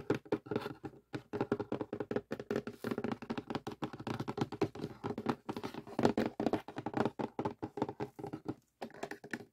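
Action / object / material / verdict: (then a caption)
tap / cardboard jigsaw puzzle box / cardboard / none. Fingertips and nails of both hands tap quickly on the lid of a closed cardboard jigsaw puzzle box resting on a table. The result is a dense run of short, dry taps and thunks with a hollow mid-range body, no ringing, and only a few brief pauses.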